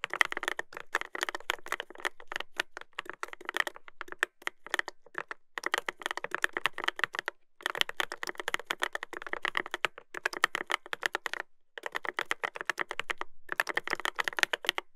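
Fingertips type continuously on the plastic keycaps of a Dolphin 2021 mechanical keyboard with a brass plate. The result is a rapid stream of sharp, clicky keystrokes with a bright midrange tone, broken by a few short pauses.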